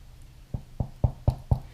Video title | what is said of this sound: Baking Artisan Bread with Amarra ©2018 S1E21 - Artisan Heirloom Foods | it sounds hollow